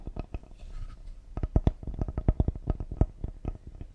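A cedar wooden serving board is tapped quickly and delicately with the fingers, giving 21 short, dull, low knocks in uneven bursts. A brief pause with a faint, soft scratchy rustle comes after the first few taps. Each tap dies away almost at once, with no ring.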